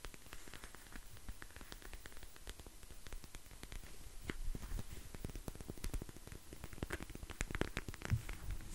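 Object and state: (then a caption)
Silicone gel insole with beads. A flat, flexible, hand-sized clear silicone gel insole filled with small green beads or glitter is held in both hands close up and squeezed, pressed and tapped with the fingertips. Dense, quiet clicks and soft crackles patter steadily like light rain, with a low, muffled body and very short, dry decays.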